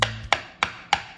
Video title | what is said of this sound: 9 Pizza Crust Possibilities - You Suck at Cooking (episode 108) | sounds like wood on wood